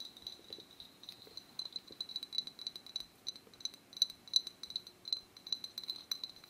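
An Arizona green tea glass bottle is tapped at varying speeds, producing a quiet, irregular run of light, clicky taps. Each tap is short and bright with a thin glassy ping that dies away almost instantly, over a soft, faint background.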